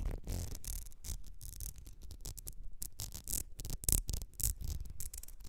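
Long red nails scratch and tap a small ribbed glass perfume bottle with a gold cap. The result is a quick run of dry, bright scratching bursts over soft low thumps, with each sound stopping almost at once.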